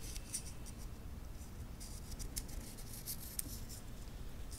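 A wristwatch's titanium link bracelet is held in both hands while the fingertips bend the metal links and click them against each other. Short, bright metallic ticks and clicks stand out over a low, steady rumble, with several sharper clicks spaced through the clip.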